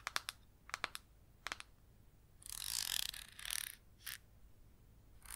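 Long red acrylic nails tap a small red plastic jar of baking powder, hollow and filled with powder, with a red screw-on plastic lid, giving seven quick, dry, bright clicks in short clusters. The nails then scratch across the plastic in longer hissy, rasping strokes, with a short scrape and a final scratch at the end.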